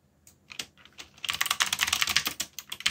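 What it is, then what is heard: Plastic mechanical keyboard. Fingertips type on a backlit mechanical keyboard with plastic keycaps. A few scattered clicks give way to a fast, steady run of sharp, bright keystrokes that die away almost instantly, with next to no low end.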